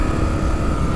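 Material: Nothing is struck.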